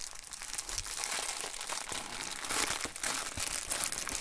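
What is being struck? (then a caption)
Plastic poly bubble mailer envelope. An Amazon Prime poly bubble mailer envelope lies flat on a table while fingertips and palms rub and scratch its plastic bubble surface. The result is a steady, bright crinkling and scratching with dense rustle and small crunchy clicks throughout.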